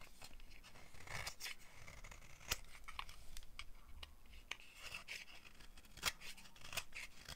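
A solid, dry beige rectangular soap bar held in the hand is shaved by a metal blade with a green handle, carving it into powdery flakes. Crisp, bright scraping and crunching strokes come in quick bursts with a few sharper clicks over a quiet, low background.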